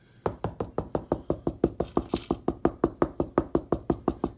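Knuckles knock on a drywall wall while placing a new outlet, producing about two dozen quick, evenly spaced dull, hollow knocks with a low-mid tone around 340 Hz and almost no ring. The hollow sound indicates a hollow spot with no stud behind it, so the box will go just short of or past that spot.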